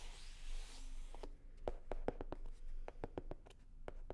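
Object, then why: Faux leather covered hard-shell case. Long nails rub and scratch a hollow, navy blue hard-shell sunglasses case covered in faux leather. The first second is a steady, airy, bright scraping. It gives way to a run of short, dry clicks and taps with a hollow tone around 490 Hz that stop almost at once.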